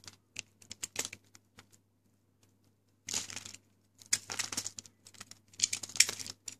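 A pink, dry, hard Lux bar soap held in the hand is carved with the metal blade of a yellow box cutter until it breaks into crumbly chunks. Bright, dry scraping and crackling come in quick bursts, with a pause in the middle before denser crumbling resumes.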